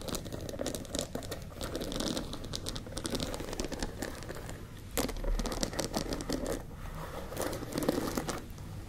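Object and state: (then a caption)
Wooden paddle hairbrush. Long lilac nails scratch and tap a hand-sized wooden paddle hairbrush with dense dark bristles and a solid wood body, held close. The result is a steady stream of soft crinkly, crackling scratches across the bristles, mixed with dull little taps on the wooden back and occasional brighter scraping bursts.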